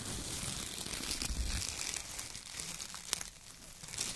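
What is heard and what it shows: Hands crumple and pull bunches of thin shredded brown kraft paper strips, making steady bright crinkling and rustling with a low rumble underneath. A sharper crackle stands out near the end.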